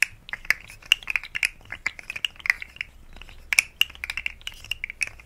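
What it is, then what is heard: Plastic articulated slug fidget toy clicking. A rainbow, segmented, hollow plastic articulated slug fidget toy is held by the fingertips and bent so its segments click. The result is an irregular run of many short, dry, bright clicks centred around 2.5 kHz, with almost no low end and no ring after each click.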